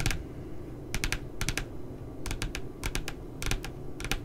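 Fingertips and nails tap and scratch the printed puppy image on the glossy paper cover of a spiral notebook. Quick, dry, bright clicks come in small clusters of two or three, each dying away almost instantly, over a steady low rumble.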